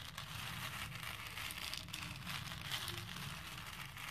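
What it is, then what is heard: Plastic pearl beads stirred in a plastic bowl. A hand with painted nails stirs and rubs small plastic faux pearl beads in a pink plastic bowl. It makes a steady, bright, crinkly rattle and rustle with a soft low rumble beneath it. The sound stays constant throughout, without distinct separate hits.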